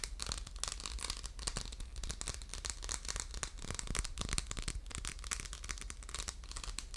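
Fingernails scratch across the textured surface of a hollow, orange faceted diamond-pattern glass soap dispenser with a metal pump, held in the hands. The sound is a dense run of quick, dry, bright scratching and crinkly rasps with a steady low hum beneath.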